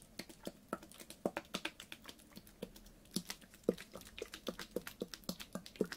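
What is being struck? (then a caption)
Ribbed plastic water bottle tapped with fingernails. A clear, ribbed PET water bottle with a blue cap, full of water, is tapped with fingernails in a quick, irregular rhythm. Each tap is a short, dry click with a bright tick and a hollow knock around 480 Hz that dies away almost instantly.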